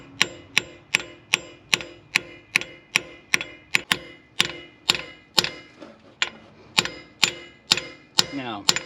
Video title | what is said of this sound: Irate Diesel Fuel System Upgrades. | we're just going to keep tapping until we sounds different now